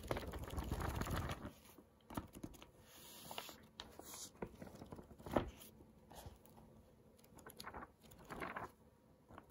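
Fingertips flip and riffle the edges of an open paperback book, a solid stack of printed paper pages held in hand, making a dense, papery rustle for the first second and a half. The flat hand then rubs and taps the open pages, producing scattered soft, dry taps and brushing swishes with short bursts of crinkly rustle, all at a quiet level.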